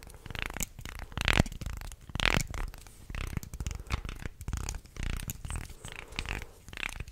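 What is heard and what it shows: Fingers bend the flexible body of a wooden articulated shark toy while nails scratch along its wooden segments. The result is a close, uneven stream of dry clicks, rattles and rough scraping in bursts roughly a second apart, heavy in the low end with brighter scratchy edges.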